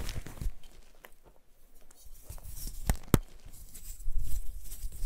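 Hands with painted nails crush and squeeze white gym chalk blocks and chunks (magnesium carbonate) over a pile of chalk powder, crumbling them. Soft, low crunching and crinkling fills the clip, with a few sharper cracks around the middle and a denser crumbling near the end.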